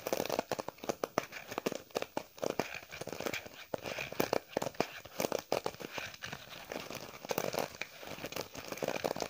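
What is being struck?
Faux leather wallet.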